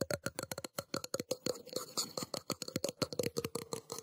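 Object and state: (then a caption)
Metal cup. A metal cup is tapped rapidly with quick, light strikes for ASMR. Each sharp tick carries a short clinking ring with a steady tone near 500 Hz and bright metallic overtones. The taps come fast and closely spaced, blurring together briefly in the middle.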